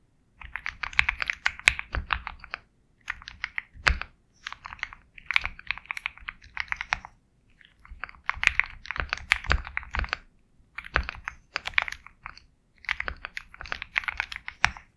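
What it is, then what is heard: Mechanical keyboard with plastic keycaps. Fingertips type steadily on a compact 65% Sugar65 mechanical keyboard with KTT Kang White switches, a black case and white and black plastic keycaps. Bursts of quick, dry, bright clacks centered around 2 kHz are separated by short pauses, with occasional deeper thocks from heavier strokes and almost no ring after each keypress.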